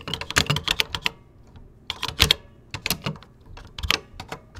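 Fingertips type on a vintage 1980s plastic computer keyboard with cream plastic keycaps. Bright, clacky keystrokes come in quick bursts with a short pause in between, each with a crisp high click and very little ring.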